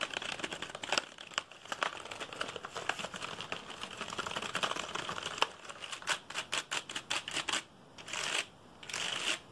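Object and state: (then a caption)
Plastic computer keyboard. A black plastic computer keyboard held upright, with fingertips rapidly tapping and rubbing across the keys. Dense, bright clicks and scratchy rubbing run throughout, turning into a run of distinct quick taps and then two longer hissing rubs near the end.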